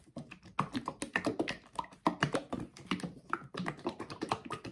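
A mid-size blue plastic bottle of liquid bath soak, hollow and partly filled with thick liquid, is held in both hands and shaken vigorously. Thick liquid sloshes and slaps inside in a quick run of dull, short bursts with faint plastic creaks and taps, steady throughout.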